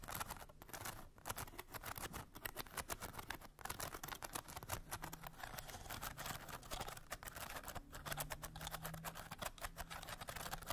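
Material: Bamboo.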